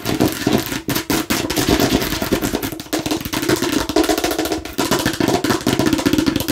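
Long nails rapidly tap and scratch the red surface of a hollow plastic watermelon-slice bottle with seed holes. The result is a dense, continuous stream of sharp clicks and scrapes with a hollow plastic tone around 260 Hz and bright edges. Each tap dies away almost at once.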